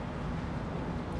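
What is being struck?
Nothing is struck.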